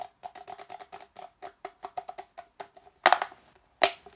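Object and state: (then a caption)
Empty plastic cup. An empty, hollow red plastic party cup is held in both hands and tapped quickly with the fingertips and nails along its wall. A rapid run of short, dry, hollow taps rings at a mid pitch with almost no decay. Two louder, bright, scratchy bursts break in near the end.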